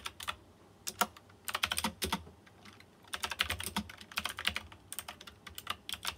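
Fingertips type on a white plastic mechanical keyboard with round chrome-rimmed keycaps and RGB lighting. Rapid bursts of short, bright, crisp key clicks come in clusters with brief pauses between them, each click dying away almost instantly.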